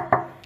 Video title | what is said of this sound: CARA CEK MOTOR BEKAS JANGAN SAMPAI KETIPU HARGA MURAH | kalau yang masih ori ini bagian iniya tebal tebal ketika di tekan diketuk-ketuk begini ini bunyinya seperti itu